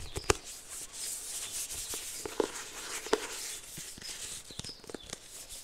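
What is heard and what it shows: A small, closed, white polka-dot 2024 agenda planner with a card cover is gripped in both hands and tapped with the fingertips and on its spine edge. About six sharp, dry taps with a mid-range knock stand out over a steady, bright papery rustle. Each tap dies away almost instantly, with no ring.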